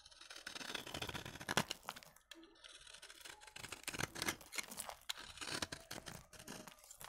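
A utility knife blade scrapes along the side of a solid orange-beige dry bar soap with an embossed logo, shaving off crunchy curls. Dry, bright, crackling scrapes come in uneven strokes with short pauses between them.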